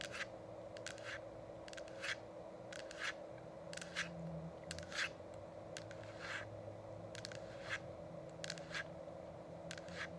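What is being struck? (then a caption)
Plastic diffuser shell. Long acrylic nails tap and scratch both sides of the hollow, frosted plastic dome shell of an essential oil diffuser while it is lit and switched on. Quick, bright clicks and brief scraping strokes repeat throughout over a steady low hum from the running diffuser.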